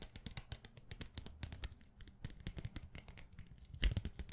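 A set of thin, rainbow-colored plastic sticky bookmark tabs on a clear plastic plate, held in hand, is tapped very fast with long nails. Dense, quick clicky taps come in a steady stream, each short and dry with a soft low thump and a bright tick on top. Near the end there are a few louder taps.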